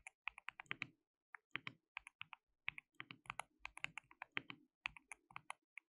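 Fingertips of both hands type continuously on a compact, white-cased mechanical keyboard with a hollow case, white and pink plastic keycaps and RGB backlighting. The result is a rapid run of short, bright, clacky keystrokes centered around 2 kHz, each dying away almost instantly, with brief pauses between bursts.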